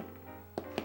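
Two hollow taps on the bottom of a freshly baked sourdough loaf on a cooling rack, each a short, dull knock with almost no ring. The hollow sound shows the bread, baked about 40 minutes with steam, is cooked through.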